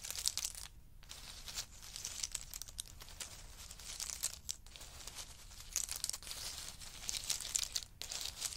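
Two wooden spoons stir and rake through a pile of pistachio nuts in hard shells. The result is a steady, bright rattling and crackling of shells clicking against each other, with brief quieter gaps near 1, 4.5 and 8 seconds.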